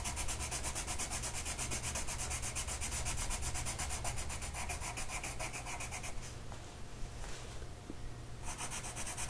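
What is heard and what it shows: A blue colored pencil tip is rubbed rapidly back and forth across a flat printed mandala paper coloring sheet, which lies on a table and is held by one hand. The steady, bright, scratchy strokes run over a low hum, fade to a softer rasp for about two seconds near the end, then resume.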